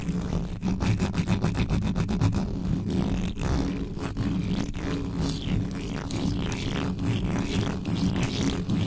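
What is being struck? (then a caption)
Metal mesh microphone grille. Long yellow nails scratch fast and hard across the hollow metal mesh grille of a black condenser microphone, from above and from the sides. The result is a dense, continuous rasping and scraping with heavy low rumble and quick, rhythmic strokes.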